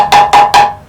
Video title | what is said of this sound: Triumph Reborn 008 | tapping around very hollow sounds horrible